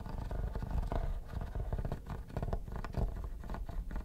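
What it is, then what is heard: Plastic hard-shell vanity case. Metal tweezers scratch the textured top of a hollow, mint-green quilted hard plastic vanity case. The result is a dense run of quick, rough scraping strokes with a low, hollow resonance, and almost no bright content.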